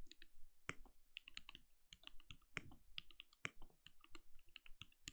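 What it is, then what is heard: Plastic mechanical keyboard. Fingertips of both hands type rapidly on a compact backlit mechanical keyboard with plastic keycaps and a translucent glowing case. About two dozen short, separate key taps follow one another, each a bright plastic click over a soft low thud that stops almost instantly. A few taps land harder, rising above an otherwise quiet, steady clatter.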